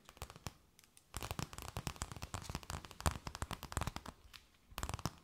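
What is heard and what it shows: A thin, empty, clear plastic bag held between both hands is tapped, scratched and crinkled with long nails. Sparse clicks and taps open the clip, then a dense run of sharp crackles and crinkles follows. A quieter lull gives way to a final burst of crisp crinkling taps.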